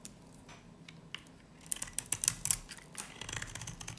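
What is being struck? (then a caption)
Varnished soap bar carved with a knife blade. A solid green soap bar with a black varnished edge, super dry, is held in the hand and carved and scraped with a utility knife blade. Soft, faint scraping gives way to a run of sharp, bright, crisp cuts and crackles in the middle. Lighter scraping and rasping follow after.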